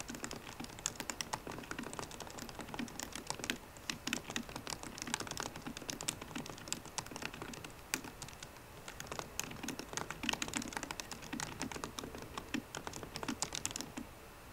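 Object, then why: Laptop keyboard, plastic keys in aluminium body. Both hands with painted nails type fast on the black plastic keys of a solid 13-inch silver aluminium MacBook Pro, tapping with the fingertips. A dense, steady stream of short, bright clicks and taps fills the whole clip, with each one dying away almost at once.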